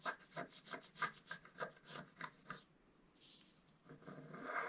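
A wooden stylus scratches the black coating of a flat scratch art card lying on a table, working in the lower part of the design. A quick run of short, dry, bright scratching strokes comes at a steady brisk rhythm, then a brief near-silence with a faint high rasp. It ends with a longer, rougher scrape that builds in loudness.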